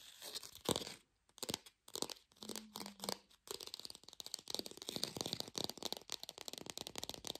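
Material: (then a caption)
Plastic. A small fake plastic lemon, held in both hands, is fast-tapped and scratched with long pink fingernails. Bright, dry clicks and scratchy crinkles come in short bursts with brief pauses at first, then become a dense, rapid run of taps.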